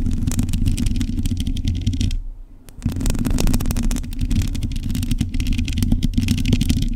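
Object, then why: Metal mesh microphone grille. A hollow black metal mesh microphone grille is scratched with long acrylic nails, producing a dense, continuous rasping and clattering with a heavy low rumble and bright scratchy edges. The scratching pauses briefly around the two-second mark, then resumes just as steadily.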